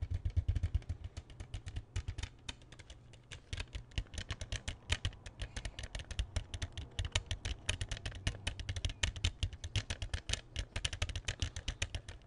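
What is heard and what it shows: Fingertips and nails rapidly tap an open, small, hollow hard plastic CD jewel case with a silver disc inside. The result is a dense run of short, dry, bright clicks with almost no ring, over a steady low rumble. The tapping eases briefly around the 2 to 3.5 second mark before picking up again.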